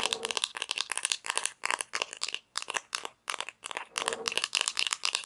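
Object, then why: Hollow plastic toy pizza slice tapped and scratched with fingernails. Long nails tap and scratch the textured top of a small, hollow plastic toy pizza slice with painted toppings, held in both hands. Quick bursts of bright, dry clicking and scraping come in clusters separated by short pauses, with almost no low end and no ringing after each tap.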